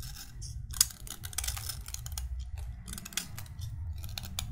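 A solid white chalk stick is carved by scraping it with a metal utility knife blade held in the other hand, over a pile of chalk dust below. Short, dry, bright scraping and crackling bursts follow one another quickly, with one sharper click early on, over a steady low rumble.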